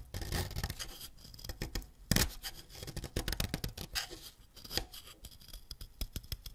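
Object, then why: Wax crayon and ceramic blade. A solid green wax crayon is scraped with a white ceramic knife, making a dense run of short, dry scratching strokes with bright, hissy edges over a low rumble, and a sharper scrape stands out near the middle. Green wax dust collects on the blade.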